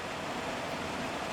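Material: Nothing is struck.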